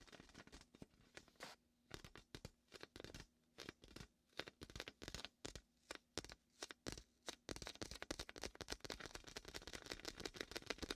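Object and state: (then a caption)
Inflatable vinyl beach ball. Fingers press and peel the sticky surface of a large red and white hollow inflated vinyl beach ball held in the hand at the microphone's left ear. Short, bright, tearing crackles come in separate bursts at first, then merge into a dense, continuous sticky crinkling for the last few seconds.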